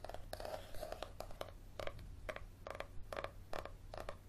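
Fingernails scratch the cover and the edge of the page block of a thick yellow paperback held flat, making a series of short, dry, quiet scratches. Each scrape has a faint tone around 560 Hz and a soft, bright edge, over a steady low hum.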